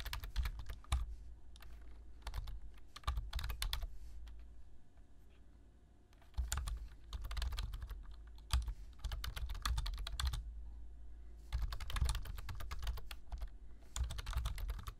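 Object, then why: Plastic computer keyboard. Fingertips tap the keys of a black plastic low-profile computer keyboard while typing, producing quick bursts of short, crisp clicks. The typing pauses briefly near the middle and again later in the clip, and a steady low hum sits underneath throughout.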